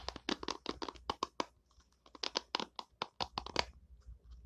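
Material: Plastic.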